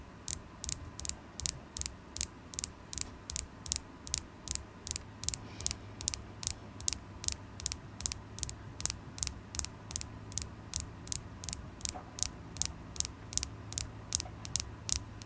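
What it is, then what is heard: Carnelian crystal point tapped with nails. Long acrylic nails tap a solid polished carnelian crystal point held in the fingers, making about 44 short, sharp, bright clicks at a steady, quick pace. Each tap cuts off almost instantly, with no ring, over a faint low hum and soft background noise.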